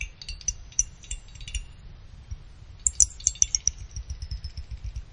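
A small finned aluminum CPU cooler heatsink has its side fins plucked with a small pick, giving bright, short metallic pings. Quick scattered plinks come first, then a clearer run of about six ringing tones high in pitch near the end, over a faint low rumble.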